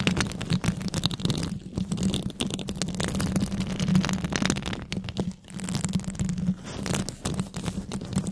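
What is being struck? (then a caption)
Metal mesh microphone grille. Long red nails worn over white gloves scratch and tap the hollow metal mesh grille of a large microphone. The result is a dense, crackly rasp of quick scrapes and taps with a low, boomy body and a steady hum near 190 Hz, thinning out briefly partway through before resuming.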